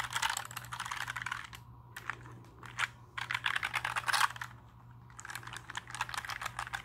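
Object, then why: Plastic mechanical keyboard keycaps. A compact black plastic mechanical keyboard is held in the hands and tilted while fingertips press and tap its plastic keycaps. Bursts of quick, bright clacking keystrokes alternate with short quiet pauses over a faint steady low hum.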